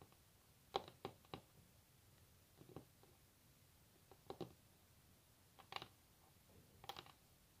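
Long natural nails rapidly tap a solid varnished wooden tabletop in short, scattered bursts. The taps are quiet, dry clicks with a bright edge and almost no ring, separated by near-silence.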